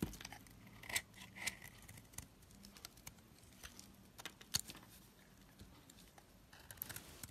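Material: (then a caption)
Soap. A knife blade shaves and scrapes curls from the surface of a hand-held, solid white soap bar with a dark outer coating. Quiet, bright scraping and crisp shaving strokes are heard, with several sharper clicks standing out against a soft, steady hiss.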